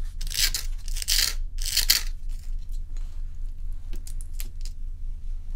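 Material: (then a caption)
Ice. Long nails scratch and tap the frosty top of a large, solid, round ice block resting on a towel. Three bright, hissing scratches come first, followed by a series of short, sharp, crisp taps over a steady low hum.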